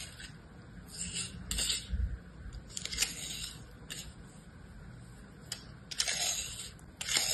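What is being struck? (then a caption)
Kinetic sand in a plastic mold. A utility-knife blade slices and scrapes through a hand-sized star of packed kinetic sand, solid, dense and damp-looking, held inside an orange plastic cookie-cutter mold, cutting along the mold edge. The result is a bright, gritty scraping hiss broken by short, sharp ticks and crunchy swells where the blade bites in, over a low, soft rumble.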